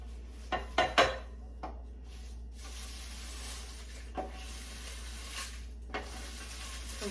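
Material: Kale.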